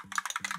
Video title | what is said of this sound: HOW TO ENGRAVE STAINLESS STEEL TUMBLERS - ENGRAVING YETI MUGS - LASER ENGRAVING MUGS - LASER MARKING | shake it until that ball comes loose and you can hear it